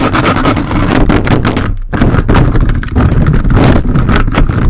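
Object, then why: Metal mesh microphone grille scraped with plastic fingers. A large red-bodied USB microphone's hollow dark metal mesh grille is rapidly scratched and rubbed by the grey plastic fingers of a handheld toy robot grabber hand. The result is a loud, continuous rumbling scrape heavy in low frequencies, broken by quick bursts of rubbing and one brief pause near the two-second mark.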